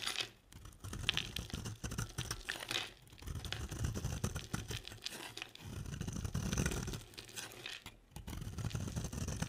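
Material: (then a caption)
Soap. A utility knife blade carves chunky flakes off a solid, cream-colored oval bar of dry soap held in the hand. The result is a steady run of crisp, crackly scraping and crunching with a bright edge over a soft low rumble, broken by brief pauses between strokes.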